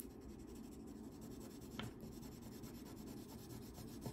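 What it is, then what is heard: Wax crayon scribbling on paper. A blue wax crayon rubs in long scribbling strokes along the edge of a thin paper coloring page lying flat on a table. The result is a quiet, steady, dry scratching rasp with a low papery rumble beneath it, marked by a couple of slightly sharper scrapes.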